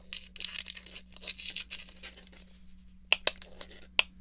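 A small, hollow black plastic Atari joystick is held in the hand while long nails scratch and tap its base and press the fire button. Soft, bright scratching and rustling fill the first three seconds, followed by a few sharp, dry clicks and taps that stop instantly. A faint, steady low hum runs underneath.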